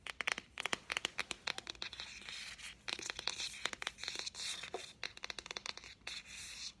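A green Greek-edition Diary of a Wimpy Kid paperback, a solid book of paper pages with a thin card cover, is held in the hands while its cover and spine are tapped and scratched with fingernails. Many quick, dry taps mix with rough scratching strokes. The sound is bright and crisp, with almost no low end and no ring after each hit.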